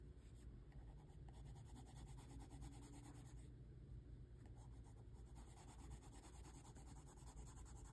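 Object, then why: Wax crayon on a paper sheet. A hand holding a dark wax crayon scratches dense hatching strokes into a thin, flat white paper sheet lying on a table. The result is a quiet, steady, rapid scratching and rubbing texture that runs without a break, weighted toward a low rumble with faint brighter grit.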